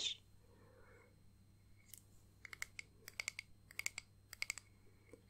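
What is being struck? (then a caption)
Small flat acrylic disc ornament. Long painted nails tap a small, flat, solid clear acrylic disc ornament with pressed flowers and "Nana" lettering. Quiet, bright, sharp clicks come in scattered bursts, each dying away almost instantly with a faint tone near 2.2 kHz. A steady low hum sits underneath, and a brief bright hiss opens the clip.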